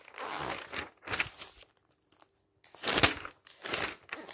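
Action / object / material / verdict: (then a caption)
scrape / glossy paper magazine / glossy paper / none. Fingertips flip the pages of a thick glossy paper magazine lying open on a stack and smooth them flat. Crisp, bright, crinkly paper swishes come in separate bursts, with a quiet pause in the middle before the louder turns resume.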